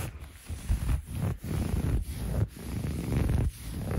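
Fingertips and short nails scratch and rub across the textured weave of a soft, bunched grey waffle-weave fabric blanket. The result is a low, rumbling, muffled scratching that comes in short bursts with brief pauses between strokes.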